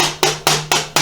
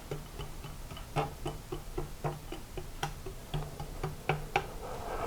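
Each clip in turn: First: misaligned motorcycle fork leg, pushed back. Second: fork leg in line (aligned).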